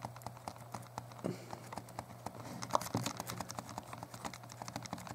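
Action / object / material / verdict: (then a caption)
tap / plastic handheld game console / plastic / none. A small, hollow, translucent purple plastic Game Boy Color is held in both hands while thumbs tap and press its plastic buttons. The result is a rapid, uneven stream of short, dry plastic clicks with a few louder presses, over a steady low hum.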